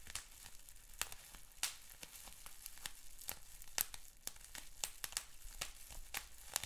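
Fingertips and short nails pinch, pop and scratch a clear plastic bubble wrap sheet with small bubbles. Sharp, bright pops burst out irregularly over a soft, steady crinkling and scratching, each snap cutting off almost instantly.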